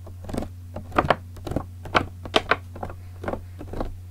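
Fingertips and nails scratch and tap the ribbed plastic of a large clear green PET bottle with a red cap, partly filled with liquid. Eleven short, dry taps and scrapes sound over a steady low hum, each with bright crackly edges and almost no ring.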